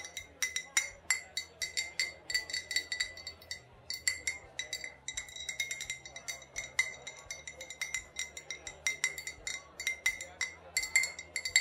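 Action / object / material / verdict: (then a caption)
tap / glass liquor bottle / glass / none. An old glass bottle with a faded sticker, holding either vodka or rubbing alcohol, is tapped and clinked in a rapid series of dozens of light strikes. Each tap gives a short, bright glassy ping centered near 2 kHz with little low end, and the clinks fall in uneven clusters.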